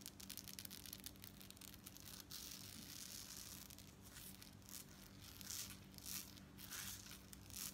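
Long coral-painted nails scratch and tap quickly along a worn long necklace of small gold-tone metal beads strung in rows on dark cord. The result is a dense, bright, crinkly rattle of metal clicks and scraping, over a faint steady low hum.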